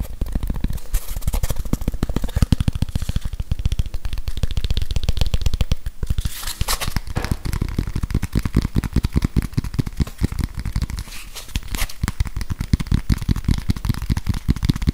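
Fingertips scratch and rub a grey whiteboard eraser, a plastic body with a felt pad, held over the microphone. The result is a dense, irregular stream of crackly, rustling scratches with a heavy, booming low end and short, dry ticks that fade instantly. The texture stays busy throughout, with brief brighter bursts of friction in between.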